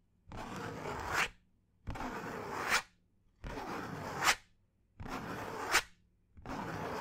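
A thin piece of brown cardboard is held near the ear and scratched with fingernails in five separate strokes, the last still going when the clip ends. Each stroke is a dry, papery rasp about a second long that grows louder and brighter and ends in a sharp, high scrape, with near-silence between strokes.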